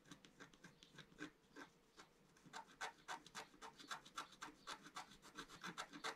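A pointed wooden stylus held in the fingers scratches a flat, about A4-size, solid black-coated scratch-art sheet over rainbow foil lying on a table. A quick, fairly steady series of short, dry scraping strokes is heard, each with a bright, raspy edge centered around 1.3 kHz and almost no low end. The strokes grow denser and louder toward the end.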